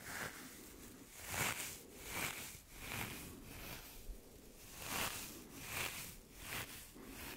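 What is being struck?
Nothing is struck.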